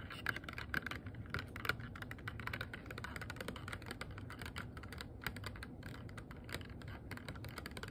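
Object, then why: Small rigid plastic box. A small, hollow, empty, transparent rigid plastic box is tapped and scratched with long nails, giving a rapid, uneven stream of sharp, dry clicks. Each tap dies almost instantly with a light hollow tone near 1.5 kHz, over a low, steady rumbling background.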